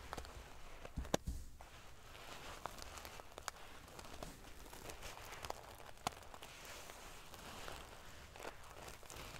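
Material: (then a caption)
Metal. Fingernails scratch and ruffle the silver metal paillettes covering a sequin pillow, making a quiet, steady crinkling rustle. Occasional sharp, bright clicks stand out above the dense scratching.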